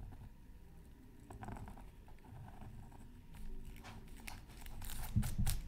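A pointed wooden stylus scratches across a thin, black-coated scratch art card lying flat on a mat. It makes a series of short, dry scraping and crinkling strokes over a low, muffled rumble, with brief bright scratchy bursts that grow louder toward the end.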